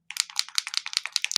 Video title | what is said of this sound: Understanding Interference Ink Pads - Cloud 9 Inks from Lisa Horton Crafts | you can hear the ball bearing so make sure all your ink is mixed